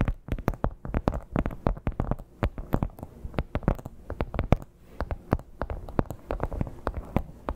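Long black-tipped nails scratch and tap the embossed texture of a red crocodile-embossed leather clutch. Dozens of quick, dull, low-pitched taps come in an uneven patter, each dying away almost at once. Soft scratching fills the gaps, and there is little high brightness.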